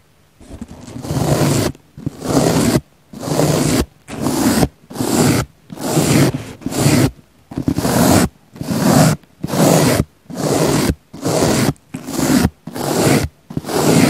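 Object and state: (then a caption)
Foam sponge being brushed. A small pink bristle brush, held by fingers with long nails, brushes and scratches the surface of a round, solid, soft, palm-sized pink foam sponge with a small microphone set in its centre. Fifteen separate strokes are heard, each a close, muffled scraping rustle with a low rumble and a bright hiss. Short silences fall between the strokes, which come at a roughly steady but uneven pace.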